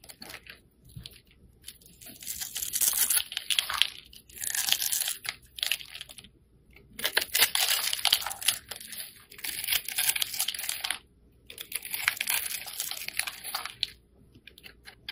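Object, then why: Bar of soap. A metal blade scrapes and cuts small cubes off the surface of a hand-held, solid yellow rectangular bar of soap. Bright, crisp scraping and crunching comes in several bursts of rapid tiny cuts, separated by brief quiet pauses, with almost no low end.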